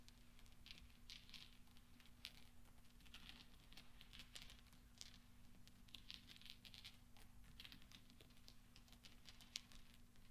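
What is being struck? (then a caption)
Small steel balls. Small solid steel pachinko balls on black velvet are tapped and rolled into each other with nails and fingertips, giving quiet, bright metallic clicks and a soft rolling patter. The ticks are short and dry, over a steady low hum.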